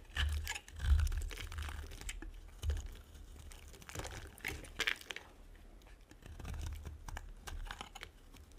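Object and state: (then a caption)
Dry soap bar being scraped. A small metal blade shaves rapid, short strokes across the surface of a solid, dry, oval, hand-sized white soap bar, carving off thin flakes. The strokes give a dry, crisp scratching with a bright, crunchy edge over soft, low thuds. The scraping comes in uneven bursts with brief pauses between them.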